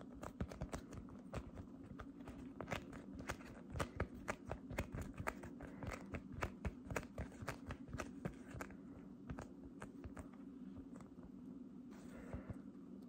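Fingers with long dark red nails slowly grip and squeeze light-blue, fluffy cotton candy cloud slime with a textured, fibrous surface. The slime gives off soft, irregular crackling and crunchy pops over a steady low hum, with occasional brighter snaps between quieter stretches.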